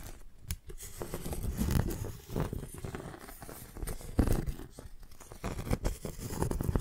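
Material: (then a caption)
Bark. A flat piece of tree bark is held sideways between two microphones while fingernails scratch along its edge and surface. The result is a close, dry, rasping scratch in irregular bursts with a muffled, low-heavy texture and quick, crackly transients.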